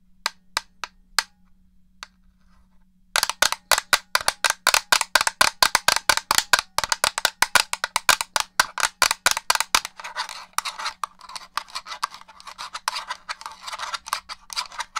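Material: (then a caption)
Plastic. Long gold-colored nails tap a black, hollow plastic original Xbox controller held close to the mic: four sharp, isolated clicks, a pause, then a fast run of dry, bright taps with almost no ring. After about ten seconds the taps turn into a denser, hissy scratching across the plastic surface, over a faint steady low hum.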